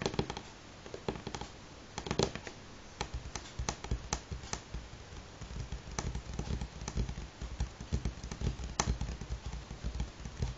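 Fingernails tap in a rhythmic, galloping pattern on a solid light pine wooden tabletop. Each tap is a short, dry click over a soft, low knock, dying away almost at once. The taps come in quick clusters that continue steadily throughout.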